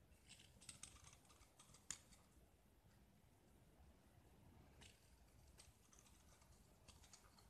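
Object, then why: Painted gypsum plaster disc scraped with a knife blade. A small, solid gypsum plaster disc painted black is held in the hand and scraped with a utility knife blade, shedding white plaster shavings. Quiet, dry scraping with crisp, bright ticks is heard, sharpest in the first two seconds, then settles into a soft, steady gritty scratch with occasional light clicks.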